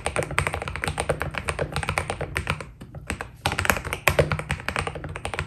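Fingertips type steadily on a white Keydous NJ80 mechanical keyboard with PBT plastic keycaps. The rapid, dry taps have a deep thocky body and bright clicky tops, each dying away almost instantly, with a brief lull near the middle before the typing picks up again.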